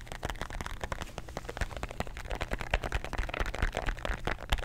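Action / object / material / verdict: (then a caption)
tap / plastic bottle with tablets inside / plastic / none. A plastic bottle of antacid tablets, with the tablets inside, is tapped and scratched with fingernails close to the microphone. Rapid, irregular, aggressive taps produce sharp clicks over a heavy low thump, mixed with scratchy rustling and faint rattling.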